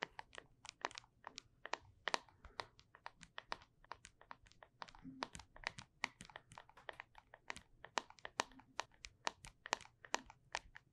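Long nails tap and scratch the side of a small, closed, full cylindrical plastic Flarp putty tub with a label, close to the microphone. Dozens of quick, dry, bright clicks come in an irregular rhythm with faint scratchy rustle between them. Each tap stops at once with no ring, and the whole clip stays quiet.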